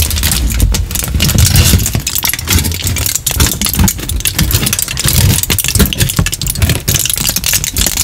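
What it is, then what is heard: Aluminium foil sheet. A crumpled sheet of aluminium kitchen foil is held in both hands close to the microphone and crinkled and rubbed with the fingers. It makes a continuous, dense, bright crackle with sharp snaps, over a heavy low rumble from the handling.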